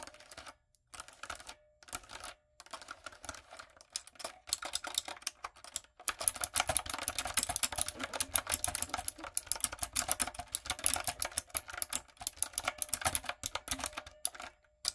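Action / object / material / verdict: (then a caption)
tap / plastic mechanical keyboard keys / plastic / none. Fingertips and long acrylic nails type on a light-up, typewriter-style plastic mechanical keyboard with round plastic keycaps. Quick, bright, dry clicks arrive in short bursts with brief silent gaps in the first six seconds, then become a dense, steady clatter through the end.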